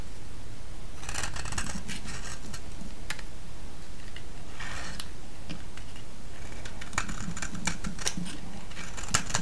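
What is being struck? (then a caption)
Soap bar. A solid green soap bar, held in the hand, is shaved with a metal blade, and flakes crack off. Over a steady low rumble, short bright scraping and crackling bursts come in clusters.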